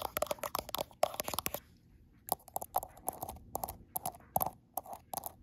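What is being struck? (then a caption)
Glass smartphone back. Long acrylic nails tap and scratch the frosted glass back of a gold iPhone Pro, seen in the mirror. About 22 sharp, dry clicks come in quick bursts with a short quiet pause in the middle, each with a tight tone near 617 Hz and a bright edge that dies away almost at once.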